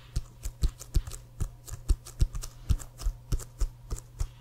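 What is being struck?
Inflated leather football.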